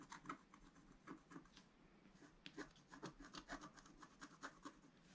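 A wooden stylus rubs and scratches the coating off a planet on a flat, black-coated scratch-art card in dense strokes. It makes a quiet run of short, dry, raspy scrapes with bright hissy edges, each stroke stopping almost at once with no ring.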